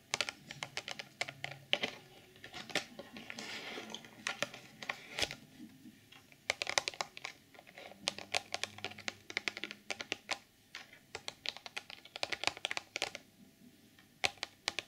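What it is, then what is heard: Clear plastic packaging box. Long polished nails tap and scratch the top and front faces of a hollow, mid-sized rectangular clear plastic BH Cosmetics retail box holding a sequin pouch. Dense, bright clicks and short crinkly scrapes come in quick clusters with brief pauses, each tap dying away almost instantly.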